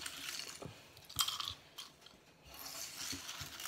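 Oven-dried tomato slices are handled and put into a small jar, giving off light, dry crunching and crackling sounds with a brighter snap around the middle. The crisp crunch shows the tomatoes are well dried.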